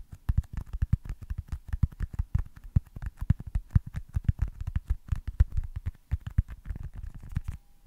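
Fingertips tap rapidly on a small, solid white foam baseball stress ball. The taps are soft, dull, low thuds with almost no ring, coming in a quick, uneven patter for the whole clip.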